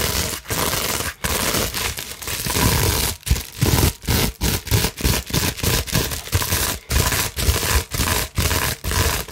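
Long nails scratch fast across a large clear plastic bubble wrap sheet. The dense, crackling rasp comes in bursts broken by brief silent pauses, with a low rumbling body and a bright, hissy top.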